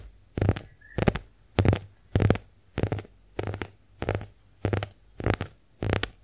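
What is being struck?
Konjac face sponge.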